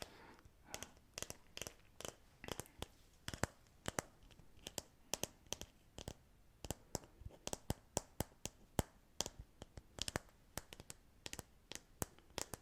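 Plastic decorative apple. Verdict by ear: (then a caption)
Fake. A decorative fake apple made of plastic, not a real one, is tapped repeatedly. The result is dozens of short, sharp, clicky taps in irregular rhythm, each stopping almost instantly, over a quiet background.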